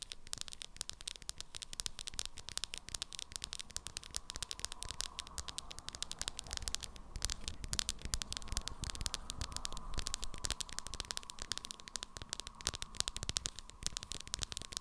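Long nails tap rapidly on the sides of a small hard plastic jar of 'Banana' setting powder with a black lid. The result is a dense, continuous patter of quick, dry clicks with a bright, scratchy edge and a steady low rumble underneath.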